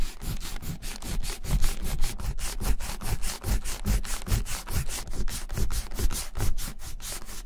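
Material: Leather.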